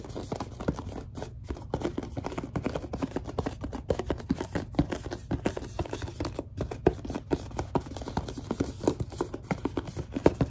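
Long dark nails grip and tap a large, hollow white plastic Suave lotion bottle. The result is a steady stream of quick, dull, short-lived clicks and taps over a soft, low rustling.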